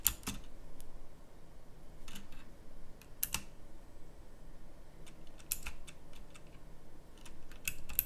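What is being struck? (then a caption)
Plastic mechanical keyboard with round keycaps. Slow fingertip typing on a pink plastic mechanical typewriter-style keyboard with round plastic keycaps produces sharp, bright clicks. Scattered keystrokes sit over a low, steady rumble, and each click dies away almost instantly.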